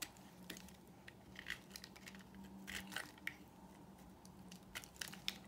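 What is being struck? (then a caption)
Bar of soap scraped with a knife blade. A utility knife blade scrapes and carves a solid pink rectangular bar of dry soap, making quiet, crumbly crunching and crinkling scrapes broken by short, bright, crisp ticks. A faint steady low hum sits underneath as the soap comes away in crumbly curls and flakes.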